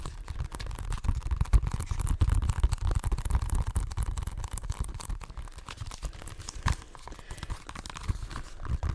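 Fingertips and nails tap and scratch a hollow plastic Xbox One game case for FIFA 16, possibly still in its cellophane wrap, held close to the microphone. The result is a dense, irregular stream of crinkly scratching and quick dry taps over heavy low thumps, with no ring after each touch.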